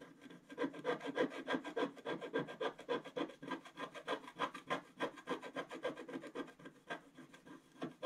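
A wooden stylus scratches dense, rapid strokes into the black coating of a flat page of wax-coated scratch art paper. It makes a quiet, dry, raspy scraping in a fairly steady rhythm of about three to four strokes per second. Each short stroke is midrange-heavy with little low end, and the strokes don't ring on.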